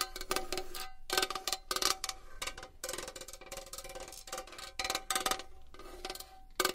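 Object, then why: Small metal box. A small metal box is tapped and scratched with long nails, giving a rapid run of bright, clicky metallic taps with a faint ringing tone around 380 Hz. Scratchy rustling fills the gaps between taps, and each tap dies away almost at once.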